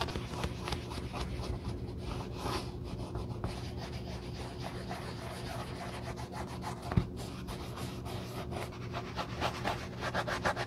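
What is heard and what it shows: Gloved fingertips wrapped in a navy cloth rub the perforated upper and heel of a black leather sneaker with a hand inside. It makes soft, steady, low scuffing and rubbing strokes, with one sharper tap near the middle. A faint low tone runs underneath throughout.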